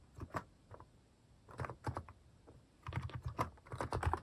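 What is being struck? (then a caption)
Plastic mechanical keyboard. Fingertips type on a cream plastic mechanical keyboard fitted with plastic cat and paw keycaps. Short, dry clacks with a soft, low thock come in quick bursts separated by brief pauses, each keystroke dying away almost instantly.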